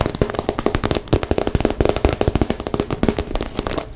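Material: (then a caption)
Plastic. Long nails tap quickly on the surface of a hollow, pink transparent PVC zip cosmetic bag. About 28 rapid, dry plasticky clicks with a hollow low thump sound in an uneven run, each dying away almost at once.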